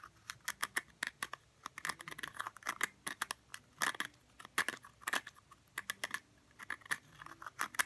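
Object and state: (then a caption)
Cork jar stopper. Fingernails scratch the top of a round cork stopper sitting in a small blue glass jar, making a quick, irregular run of dozens of short, dry scratches and clicks. The sound is quiet and papery with a bright edge, centred in the upper mids, with almost no low end. Each scratch cuts off instantly with no ring.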